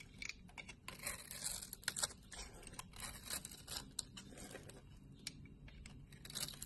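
A solid blue bar of soap held in the palm, with long red nails visible, is cut and scraped in layered slices with a utility knife blade as flakes fall off. Quiet, bright, crisp scraping and slicing sounds come as a rapid run of short, sharp clicks over a soft low rumble.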